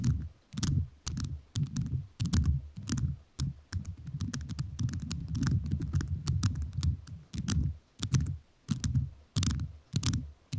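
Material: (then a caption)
Rhinestones. A microphone fully covered in rhinestones is tapped with fingertips whose nails are also covered in rhinestones. Irregular bursts of crisp, clicky taps carry bright, sharp edges over a dense, low, thumpy body, and each tap dies away quickly.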